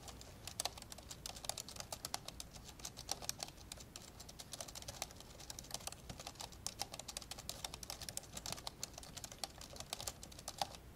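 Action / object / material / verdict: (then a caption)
tap / plastic laptop keyboard keys / plastic / none. Fingertips type fast with both hands on the plastic keys of an old dark grey plastic laptop lying open. Rapid, dry, bright key taps and clicks patter steadily over a low hiss, each one short with almost no ring.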